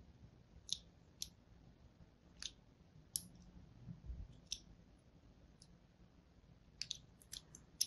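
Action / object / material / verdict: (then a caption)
scrape / bar of soap / soap / none. A fine blade scores a grid into a solid pink and white striped soap bar held in the hand. It makes a series of short, sharp, bright scratchy clicks spaced irregularly over a quiet, low background rumble, each one cutting off almost instantly.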